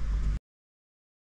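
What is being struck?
Nothing is struck.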